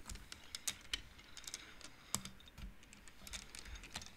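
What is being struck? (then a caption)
Wooden abacus with wooden beads. Long nails and fingertips push the painted wooden beads of an upright wooden-frame abacus, so the beads knock together. The result is quiet, irregular, dry clicks with a bright edge and almost no ring, spread unevenly across the clip.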